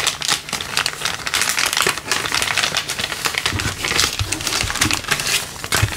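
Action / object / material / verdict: scrape / thin clear plastic bag / plastic / none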